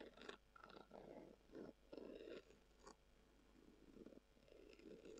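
Long acrylic nails scratch a hollow, brown, textured leather-covered tubular glasses case held in both hands. The result is a series of soft, rasping scratch bursts with a hollow midrange tone, plus occasional bright, sharp clicks from the nail tips.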